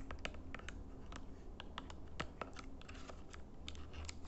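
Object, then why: Plastic remote control buttons. Fingernails tap and click on the colored buttons and edges of a small plastic LED IR remote control held in the hands. The sound is a quick series of short, dry, bright clicks with almost no ring, over a steady low hum.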